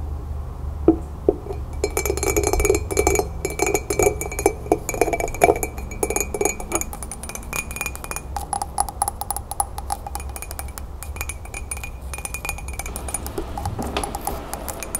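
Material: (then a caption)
Ceramic. An empty, green-glazed celadon ceramic mug, held upright on a table and then lifted, is tapped rapidly with long nails. It gives fast, irregular clinking taps with short, bright ringing tones over a steady low hum.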